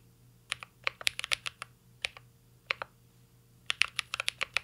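Fingertips of both hands type on a full-size CYBERBOARD R3 mechanical keyboard with an aluminum case, plastic keycaps and Holy Panda switches. About 18 short, bright, clacky keystrokes centered near 2.7 kHz come in uneven bursts, each dying away almost instantly. A quick flurry is followed by a pause, two lone taps, another pause, and a final rapid run.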